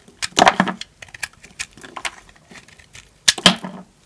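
A small knife cuts into a solid yellow bar of dry soap held in the hand, breaking off crunchy chunks. Short, dry, bright crackling crunches come in uneven bursts, with a louder cluster near the start and another toward the end, separated by quieter scraping.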